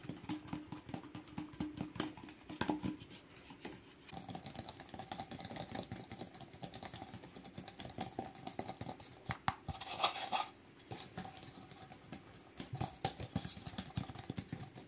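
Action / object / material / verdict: tap / plastic cup / plastic / none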